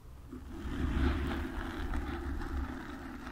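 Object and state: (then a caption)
Foam microphone windscreen being scratched. Long nails rapidly scratch the foam sides of a black foam windscreen on a desk microphone. The result is a continuous low, rumbling, scraping rustle with heavy bass that swells and fades slightly without distinct separate hits.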